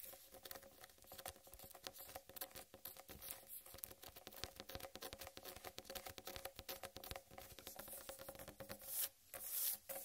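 Long red-painted nails scratch and tap across a large, whole, uncut watermelon with a green striped rind, solid and heavy. A dense, quiet patter of quick clicks and bright, high scraping runs continuously with no talking. Two louder scratching bursts come near the end.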